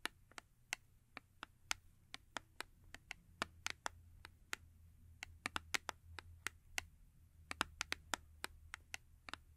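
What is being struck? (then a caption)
Small paperboard box. Long acrylic nails tap the printed face of a small paperboard Yardley soap box held upright on fur. About thirty sharp, dry, bright clicks come in an uneven rhythm, each stopping instantly with no ring, over a faint low rumble.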